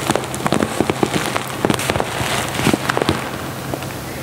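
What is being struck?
Plastic pouch filled with dried lavender buds.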